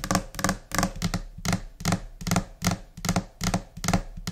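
Long nails and finger pads tap in scattered, uneven rhythms on a flat, solid white laminate desk surface. Short, dull low thuds mix with bright clicks that die away almost at once.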